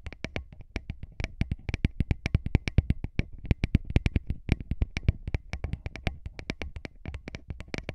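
Short fingernails and fingertips rapidly tap and scratch two small metal-bodied microphone capsules on a handheld recorder. About fifty-five quick, dry hits form an uneven run of deep, thumpy knocks with brief bright clicks on top. Each hit stops almost instantly, with no ring.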